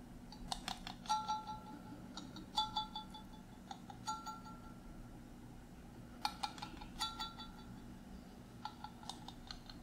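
A hand-sized clear glass mason jar, partly filled with water, is held in one hand while the fingertips and nails of the other tap and scratch its silver metal screw lid. Irregular bursts of quick, bright metallic clicks and short scratches ring briefly with tonal overtones. A faint steady low hum runs underneath.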